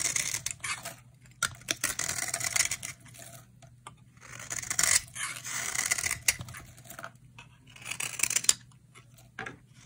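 A utility knife blade shaves flakes off a dry, solid coral-red bar of soap held in the hand. Bright, crackly scraping rasps come in uneven bursts with short pauses between strokes, and a few sharper crisp snaps stand out.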